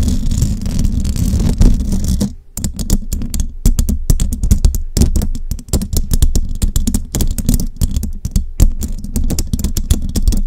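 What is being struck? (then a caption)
Metal mesh microphone grille. Fingertips and long jeweled nails tap and scratch a hollow metal mesh microphone head. The first two seconds are a dense, continuous scratching with a faint bright hiss. After a brief pause comes a rapid stream of close, dull taps that land as deep, boomy thumps with almost no ring.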